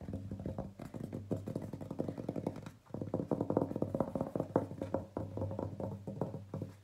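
A large printed paper gift bag with a floral design, hollow inside, is tapped and scratched on its flat side with fingertips and nails. Quick, soft taps follow one another in dense runs, giving a hollow, papery thump with a low resonant body and almost no bright content. Each tap dies away almost at once, with a brief dip in the activity near the middle.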